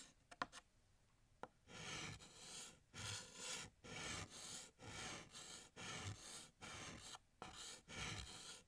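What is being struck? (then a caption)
Chalk stick on a chalkboard. Fingertips hold a stick of blue chalk and draw a gift box on a large, flat, solid black chalkboard. A few light taps of the chalk come first, then about nine long scratching strokes follow one after another with brief gaps between them. The strokes have a bright, raspy, airy texture.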